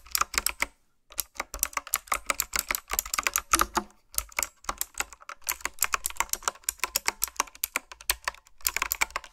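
Fingertips with long nails type on a retro, typewriter-style mechanical keyboard with round plastic keycaps. It makes a fast, steady stream of bright, sharp clicks that die away almost at once, with a brief pause near the start before the typing resumes.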